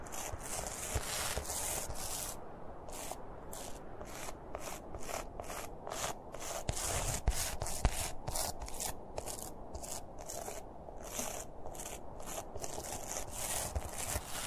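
Fingertips of both hands scratch and rub the top of the hat on a stuffed plush Santa toy made of soft red and white fabric, using repeated short strokes. Each stroke gives a soft, brushy scratching burst with a bright hiss, falling into a loose, steady rhythm over a low, muffled rumble.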